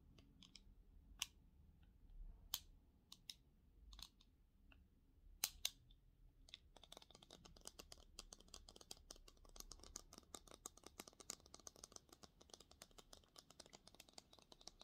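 Blue and black plastic eyeglass frames with lenses, held in both hands, are tapped and scratched along the rims and temples with short nails. A few sharp, bright clicks come first, spaced apart, then about halfway through they turn into a dense, rapid run of quiet, crisp ticking and scratching that dies away instantly after each touch.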